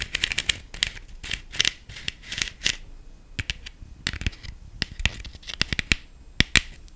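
Long nails tap quickly on the ribbed body of a black hollow plastic decorative pumpkin with gold glitter. The result is a rapid, uneven run of crisp, bright clicks and short scratchy bursts that die away almost instantly, with little low-end weight.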